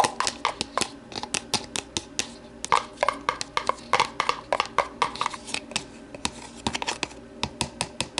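Long matte navy nails tap and scratch the side of an empty, lidless, medium-size translucent polypropylene deli container, held and tilted on a wooden table. About 37 quick, dry plastic clicks ring out with almost no decay, each a sharp bright tick with a hollow tone near 830 Hz. Soft scratching fills the gaps between them.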